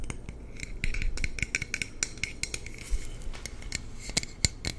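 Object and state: Aluminum water bottle.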